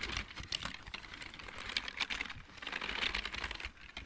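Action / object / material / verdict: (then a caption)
tap / plastic mechanical keyboard / plastic / none. Fingertips type on the keys of a full-size backlit plastic mechanical keyboard. A steady run of quick, quiet clicks and taps comes through, bright and crisp with little low end. Each tap dies away almost at once.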